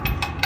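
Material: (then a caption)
Steel. Knocks on the side of an empty 20-yard steel roll-off dumpster, checked by knocking because empty ones ring easily when hit. Three short hits sound, each with bright ringing energy over a low rumble. The dumpster sounds empty.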